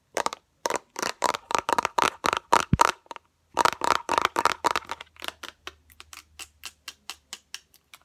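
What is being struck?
Small plastic bottle with liquid.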